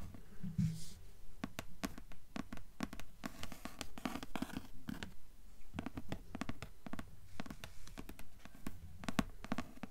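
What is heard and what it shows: Long nails tap repeatedly on the dark grey cardboard hardcover of a thick, solid book lying on a table. They make a quick, uneven run of dull, woody clicks with little ring. Brief scratchy rustles mix in between the taps.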